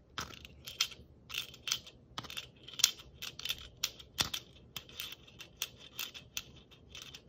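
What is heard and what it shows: Long nails tap the surface and the small silver metal cap of a hollow, glittered red-and-white striped plastic Christmas bauble held in one hand. Around eighteen quick, light taps sound bright and clicky, each dying away almost instantly with no lingering ring.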